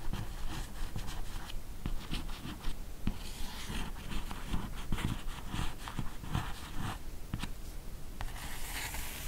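A steady run of dry, scratchy strokes fills the whole stretch, each a brief hiss with no ringing tail. Nails dragging across a matte cardboard hardcover give this soft, grainy rasp. The board's dull surface damps every stroke, and the room is quiet.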